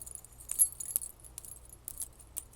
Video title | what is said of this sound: ASMR * Theme: Belly Dancing Wrap * Tapping & Scratching * Soft Spoken * Fast Tapping * ASMRVilla | It's just plastic, it's not actually metal